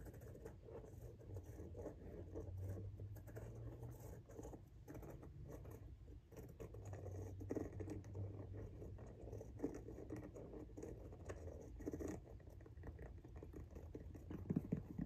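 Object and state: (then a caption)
Rubber shoe sole. Long nails tap and scratch the tread pattern of a pink rubber Jordan 1 High "Washed Pink" sneaker outsole held vertically. The result is a quiet, dense, continuous patter of soft, dull taps and scrapes, weighted toward the low end, with a few slightly sharper clicks near the end.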